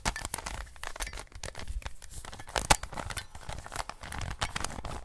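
Gloved hands rotate the layers of a standard-size plastic 3x3 Rubik's cube, producing a rapid, continuous run of clicky plastic scraping and snapping. One sharper, louder snap stands out midway through.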